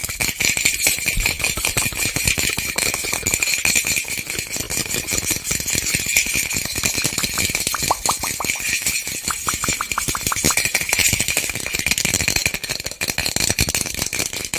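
A small white plastic bottle with a cap and label, hollow with loose contents inside, is shaken by hand. It makes a continuous, dense rattle of rapid bright clicks with a steady ringing tone near 2.4 kHz. The sound stays at an even level throughout, with little low end.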